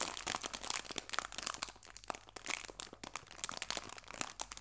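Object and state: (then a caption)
Crinkled plastic bag. Fingertips pinch and crinkle the top edge of a small, clear cellophane bag full of artificial fabric leaves. A dense run of quick, bright, crackling crinkles follows, with almost no low end and no ringing between the sharp rustles.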